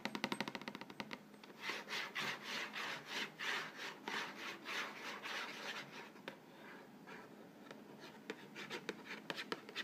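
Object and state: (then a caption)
Cardboard cracker box, scratched and rubbed. Fingernails scratch and rub the front panel of an upright, hollow Vegetable Thins crackers box made of printed cardboard and filled with crackers. A burst of quick dry ticks opens into a run of swelling, hissy rubbing strokes. These fade to a softer continuous scratch, with sharp clicks returning at the end.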